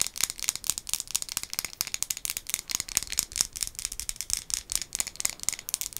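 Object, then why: Glazed ceramic mug. A hollow, empty-looking white glazed ceramic ghost-face mug, held in both hands, is tapped rapidly with long acrylic nails. The taps make dense, bright clicking with almost no low end and very short decay. The hits run together too quickly to count reliably.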